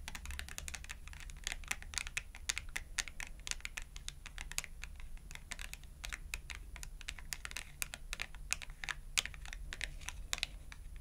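Long acrylic nails tap rapidly on the edge and sides of a thin cardstock clothing price tag held edge-on between both hands. The result is a quick, uneven stream of short, dry, bright clicks that sound like typing, each cutting off instantly over a steady low hum.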